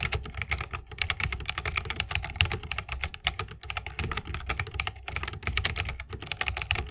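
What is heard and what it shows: Continuous fingertip typing with both hands on a 60% mechanical keyboard with a bamboo case, plastic keycaps and Holy Panda switches. It produces a rapid, steady stream of short, bright clacks layered over a low, rounded thock. Each keystroke dies away almost instantly.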